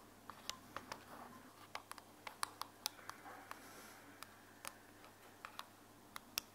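Long fingernails tap an open white plastic earbuds charging case held in the hand, striking both the case and the earbuds inside. About 19 sharp, dry, bright clicks ring around 1.1 kHz and die away almost instantly, scattered irregularly over a quiet, faintly rustling background.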